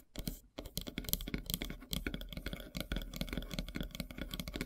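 Long silver nails tap rapidly on a large, solid, flat slice of light-colored wood with a bark edge. The result is a dense, quick patter of sharp clicks with a dull low-end thud under each. The clicks are very short with almost no ring, and there is a brief pause near the start before the tapping runs steadily.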